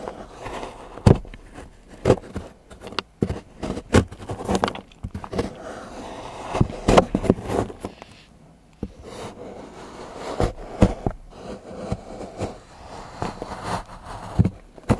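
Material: Chocolate.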